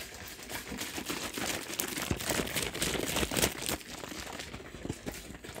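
A large plastic soft-drink bottle of about two litres, partly full of pale liquid, is held in one hand, squeezed, crinkled and shaken. Dense, bright crackling and crunching crinkles build to their loudest in the middle before easing off.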